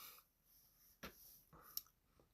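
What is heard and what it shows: Four short, dull knocks are tapped on the hull of a 1988 Shoalwater Sportsman flats boat to check its wooden transom for rot, with faint high hiss in between. The taps sound solid, and the transom has no dry or wet rot.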